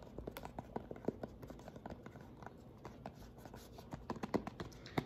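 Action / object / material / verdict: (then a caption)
tap / plastic lotion pump bottle / plastic / none. A white plastic pump bottle of lotion is held sideways and tapped rapidly along its body with fingernails. The result is a quick, uneven run of short, dry, hollow clicks that die away almost instantly, with a few sharper taps standing out toward the end.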